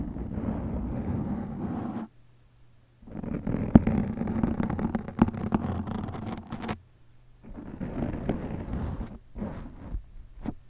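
A black foam windscreen over a microphone is cupped, rubbed and scratched with the fingertips of both hands. It makes a dense, muffled, low rumbling scrape with sharp scratchy crackles, in bursts broken by near-silent gaps where only a faint low hum remains.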